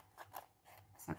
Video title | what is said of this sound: HAUL NOZ et Test produits | quand il y a rien ça croustille pas donc là ça croustille donc il y a du produit